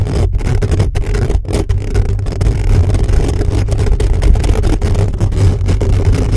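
The hollow metal mesh grille of a black condenser microphone is scratched rapidly with the fingertips and short nails of both hands. The result is a dense, continuous, boomy low rumble with a steady low hum-like tone and rough scratchy flutter, with almost no high-end content.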